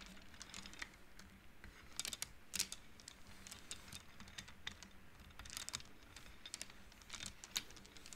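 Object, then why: Wooden bead abacus. Both hands slide and flick the painted wooden beads on an upright wooden-frame abacus, so the beads click against each other. Quick, bright, dry clicks come in irregular bursts, some louder than others, over a faint steady low hum.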